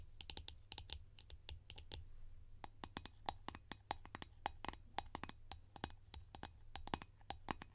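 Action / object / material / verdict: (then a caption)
tap / plastic jar lid / plastic / none. Long nails tap quickly and irregularly on a large, hollow blue Nivea plastic jar lid held in both hands. Each tap is a short, dry plastic click with a hollow tone, and a steady low hum runs underneath.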